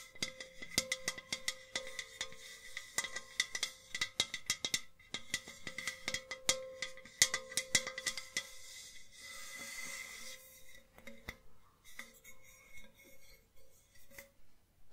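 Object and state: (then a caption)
Enamel metal jug vase tapped with nails. A hollow white enamel metal jug vase is tilted and tapped on its side and base with long nails. The result is quick, bright metallic clicks with a short ring around 2 kHz and a lower tone near 500 Hz. Midway through, the taps give way briefly to a softer, steady hiss before the light tapping resumes.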